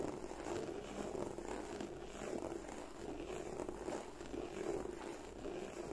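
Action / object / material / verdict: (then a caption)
scrape / textured leather bag / leather / none. Long nails slowly scratch and glide over the textured front of a black croc-embossed leather bag. The result is a quiet, continuous, grainy rasp centered in the low mids, with gentle swells as the nails move across the embossed surface.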